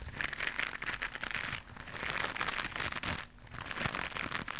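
A small white knitted mesh scrubber pad is held in both hands and scratched with long pink nails. The result is a dense, bright, crinkly scratching that runs almost continuously, easing briefly around 1.6 and 3.3 seconds before picking back up.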